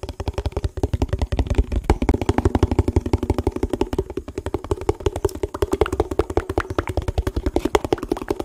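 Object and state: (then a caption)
Empty hollow plastic tub. A hollow, empty yellow printed plastic food tub is held in the hands and rapidly tapped and scratched with fingertips and nails. The result is a fast, steady stream of short, dull, hollow knocks with a low body and a faint resonant tone around 400 Hz, with little bright content.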